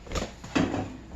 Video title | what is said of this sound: Jeanine Johnston's Homemade Honey White Bread | It should sound hollow when you tap it